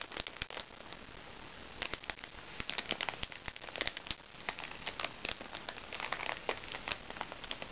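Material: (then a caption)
Plastic. A crinkly plastic package is held in one hand while a fingernail taps and scratches its plastic surface. Many quick, bright ticks and crackling crinkles sound over a steady, soft scratching hiss, each tap dying away almost instantly.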